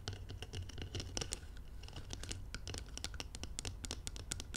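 Long nails scratch and tap the outer wall of a round, labeled glass jar filled with golden material, resting on blue velvet. A dense, steady run of quick, dry scratches and bright clicks plays over a low, soft rumble, each click fading almost at once.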